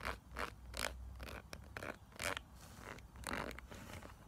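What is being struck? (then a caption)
Silicone brush-cleaning pad. Long acrylic nails scratch and tap across a small, flat, pink silicone makeup brush-cleaning mat with textured ridges and bumps, held solid in the hand. The result is a series of short, dry, raspy scraping bursts, like a zipper, with no ringing afterward.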